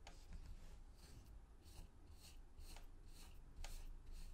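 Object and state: Kinetic sand raked.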